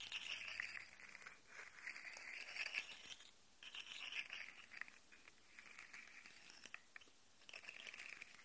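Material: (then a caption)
Plastic. Fingertips and nails scratch and rub down the ridges of a rainbow segmented plastic slug fidget toy held upright, while its articulated segments are wiggled so they click. The result is a quiet, dense, irregular run of bright, crinkly scraping and small sharp clicks, concentrated in the upper range with very little low end, coming in bursts separated by short pauses.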